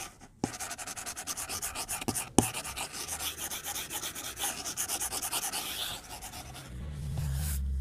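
A white plastic stylus tip strokes and taps the glass screen of a tablet lying flat on a desk, making a rapid run of short, bright scratchy strokes. Two sharper taps stand out early, near the start and about a third of the way in. Near the end the strokes thin out and a low rumble rises underneath.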